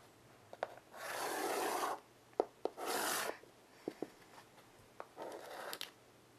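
A child draws long lines with white chalk on a small, mostly erased wood-framed blackboard resting on carpet. Three long, bright, rasping scratches are heard, each lasting about a second, with sharp clicks of the chalk touching the board between them.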